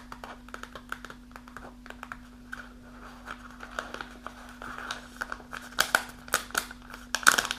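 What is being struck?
Kraft paper pouch with plastic window.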